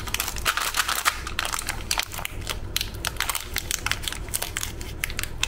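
A full, sealed, small metallized-plastic Tiger Krunch Chocochips cookie packet is squeezed and pinched at its crimped end by fingertips and thumbnails as it begins to be torn open. Rapid, dense crinkling and crackling snaps in bright, high tones ride over a steady low hum.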